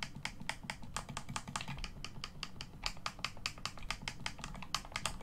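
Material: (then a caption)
Plastic. A black, hollow plastic Xbox One controller is held in both hands while the thumbs press its face buttons and click its thumbsticks. This produces a rapid, steady run of short, bright plastic clicks and taps that die away almost instantly, over a low, constant rumble.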